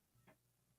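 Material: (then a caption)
Stainless steel. Two Yeti insulated metal drink tumblers, an original one and an Orioles one, taken from a drawer, are knocked together once. The result is a single short, dull clink with a low body around 120 Hz that fades within about a tenth of a second.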